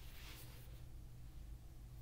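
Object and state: Nothing is struck.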